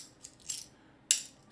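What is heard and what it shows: A half dollar machined out in the center to make a hollow magic coin, with its two loose pieces not fitting together, gives three quick, thin, high-pitched clinks. The sound is dead, with almost no ring after each hit.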